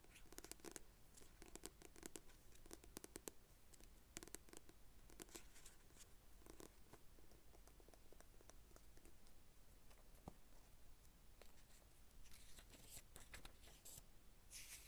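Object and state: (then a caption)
Paperback book tapped and scratched. A solid paperback novel with a glossy paper cover is held upright while long red nails tap and scratch across the cover, making quiet, crisp ticks and dry, bright scratching. Near the end, the pages are flipped, giving a brief airy, high fluttering rustle.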